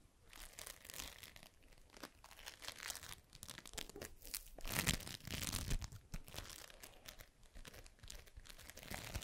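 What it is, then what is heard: Foam bead slime (floam) being squeezed. A palm-sized, solid, pliable ball of yellow floam (foam beads in slime) is squeezed, pressed and rubbed in both hands with fingertips and long pink nails. It gives dense, crunchy crackling and crinkling bead pops, bright and close, with faint low rumble underneath.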